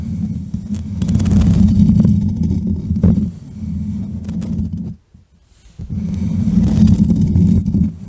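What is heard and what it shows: Fingertips with short manicured nails tap and scratch directly on the rounded metal mesh grille of a black USB microphone with a hollow head. The result is a dense, muffled rumble of rapid taps and scrapes, heavy in the low end, with a few brighter clicks. It drops to near silence for about a second, then resumes just as thick.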